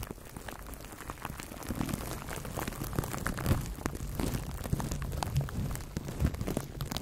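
Fingers squeeze and crinkle clear plastic cling film wrapped around a microphone, which is cupped in both hands. Dense, irregular crackling and popping sits mostly in the low range, growing busier after the first two seconds with a few louder snaps.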